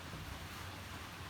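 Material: Nothing is struck.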